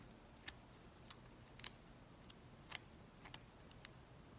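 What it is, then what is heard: Plastic bubble mailer. Fingers crinkle and scratch the open flap of an empty white plastic poly bubble mailer with a dimpled surface. Soft, sharp, bright crackles pop out at uneven intervals over a quiet, low background hiss, each snap dying away almost instantly.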